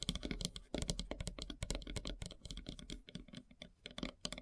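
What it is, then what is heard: Wooden log slice tapped with fingernails. Long silver nails tap rapidly on a large, solid, flat slice of light-colored wood with a bark edge. A dense, uneven run of short, dry clicks sounds, each with a low woody knock and a bright tick on top. The taps die away at once with no ring.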